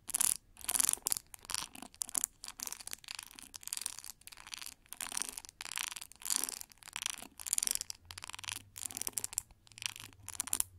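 Long nails strum and scratch the metal pin bristles of a pink translucent plastic paddle brush with a white cushion. The result is a quiet run of bright, hissy, scratchy bursts that stop almost instantly, with nearly no low end.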